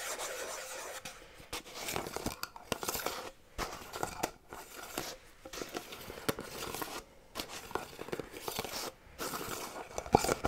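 A small, round metal tin with a black side and a printed lid is held in one hand and scratched with fingernails around its side and lid; it appears closed, with its contents not visible. The fast, bright scraping comes in dense bursts separated by brief near-silent gaps, with a light, tinny metallic edge.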